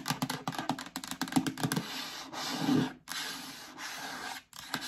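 Long dark nails tap and scratch the bottom and sides of an empty, medium, hollow yellow plastic storage bin held up in the air. A quick run of sharp, hollow clicks gives way to steady scratchy rubbing and scraping with a low plastic resonance.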